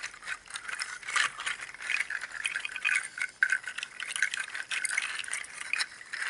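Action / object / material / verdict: shake / bundle of dried pangi seed shells / seed shell / none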